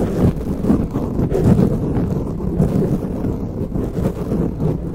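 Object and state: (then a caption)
Foam microphone windscreen being scratched. Long nails and fingertips of both hands scratch the grey foam windscreen on a silver microphone. The result is a continuous, muffled, rumbling rustle concentrated in the low range, with no high or bright content.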